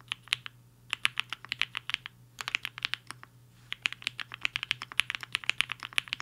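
Fingertips of both hands type on a HI-FINGER 7.5, a black-cased 75% mechanical keyboard with a hollow case and white and pink plastic keycaps, resting on a desk mat. Bright, crisp clacks come in quick rhythmic bursts with two brief pauses, each keystroke sharp and dry with almost no ring. A faint low hum runs steadily underneath.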